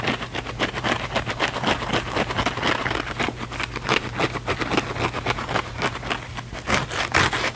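A thin, flexible, palm-sized blue foam sponge held in both hands is scratched fast and aggressively with the fingernails. It makes a continuous run of rapid, uneven, bright scratchy bursts over a steady low hum.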